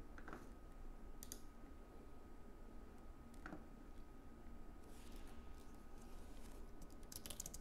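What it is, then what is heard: Aluminium and plastic keyboard being typed on. A slim white Apple Magic Keyboard, plastic keycaps on an aluminium base, lies on a wooden desk while both hands type continuously with their fingertips. Quiet, soft key clicks come in small bursts over a steady low background hum, with brief bright ticks near the end.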